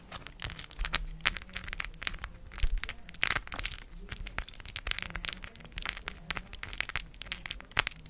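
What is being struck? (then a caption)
Cork coaster with raised plastic letters. A round, palm-size solid cork coaster with raised gold plastic letters glued on is held in both hands and scratched and tapped with long acrylic nails. The result is a dense run of dry, crisp, bright scratches and quick clicking taps that stop dead with no ring, over a faint low hum.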